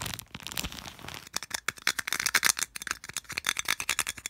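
Fingertips and nails scratch and flick across the ridged cable-wrap slots of a small, hollow white plastic earphone storage case held in one hand. A soft, hissy scratching opens the clip, then breaks into a fast run of sharp, dry, bright clicks and ticks with almost no low end. Each tap dies away almost instantly.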